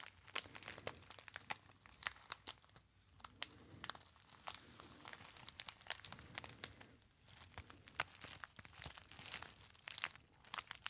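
A small gold metallic foil packet, partly crumpled and held close up, is crinkled and squeezed with the fingertips. Dense, bright, sharp crackles come in irregular bursts with short pauses, over a faint low hiss, at a fairly quiet level.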